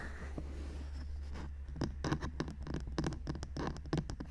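Both hands cup the white silicone ears and plastic housings of a 3Dio binaural microphone while long manicured nails scratch and rub the ear surfaces. A soft, muffled rubbing over a steady low hum turns into an irregular run of sharp, bright scratches and clicks from about two seconds in, heard close up.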